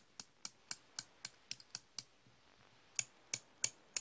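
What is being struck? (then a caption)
Steel slip-joint pliers. Hand-held solid steel slip-joint pliers are opened and closed repeatedly by the fingers, with other wrenches resting untouched nearby. The result is thirteen sharp, bright metallic clicks and jaw snaps, each dying away almost instantly, at an uneven pace with a pause of about a second before the last four.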